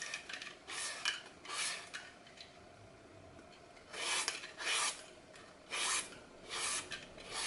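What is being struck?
Floral foam block.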